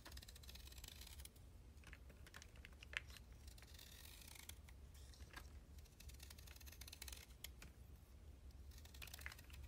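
A utility blade shaves and scrapes the surface of a solid, hand-sized cylindrical stick of soaked yellow chalk held in one hand, carving soft flakes off over a blue plastic tray. Rapid, dry, bright scraping ticks run almost continuously, with a few sharper clicks standing out, over a steady low hum.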